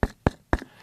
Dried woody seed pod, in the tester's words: it seems just like a coconut it's so thick and hard you can hear it